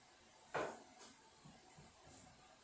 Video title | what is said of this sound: Trying TikTok Tastes and Things Egg Edition | you can hear that they're hollow sounding that means that they're done